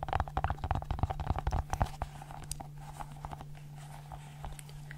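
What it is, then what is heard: Silicone pop-it fidget ball. A multicolored silicone pop-it fidget ball is held in one hand while its bubbles are popped and tapped with long nails. Rapid, soft, dull pops and clicks crowd the first two seconds, then thin out into lighter, scattered taps. A steady low hum runs underneath throughout.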